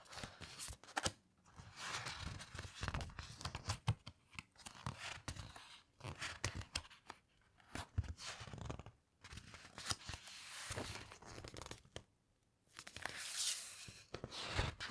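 Long nails and fingertips grip and slowly turn the thick glossy paper pages of a large hardcover coffee table book. Each turn gives a drawn-out, crisp rustle with soft crinkling and light taps, separated by brief quiet pauses.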